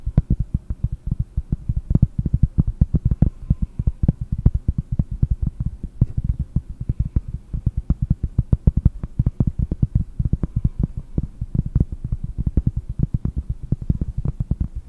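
A round pressed-cork board held close to the microphone is tapped rapidly with fingernails, giving a steady stream of soft, deep, dull thuds. The taps are short and dry with almost no ring and no high or bright content.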